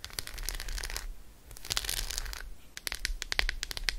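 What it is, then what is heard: Dark chocolate bar with almonds. Long acrylic nails tap fast on the embossed squares of an unwrapped, solid Roshen dark chocolate bar with almonds held in the hand. Dense runs of bright, crinkly clicks come in two bursts, then give way to sharper, separate taps. Each tap ends almost instantly.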